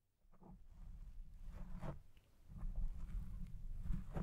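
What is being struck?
Foam microphone windscreen.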